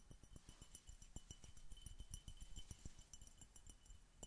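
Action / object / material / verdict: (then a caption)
tap / glass bottle / glass / none. Fingertips in a knitted fingerless glove tap rapidly and unevenly on an empty, hollow, clear glass Coca Cola bottle with a red label, held upright. The quiet taps land as short, dull low thuds that die away almost at once, with a faint glassy tone near 3 kHz and bright high glints above it.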